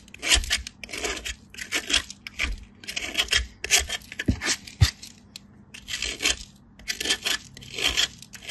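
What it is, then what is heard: Soap bar grated on a metal grater. A small, solid bar of pale soap, held in fingers with light-blue painted nails, is rubbed in repeated strokes against a perforated stainless-steel box grater. Each stroke makes a bright, dry, rasping scrape, and soap shavings fall away.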